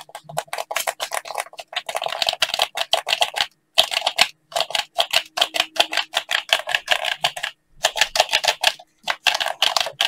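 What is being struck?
Plastic game controller.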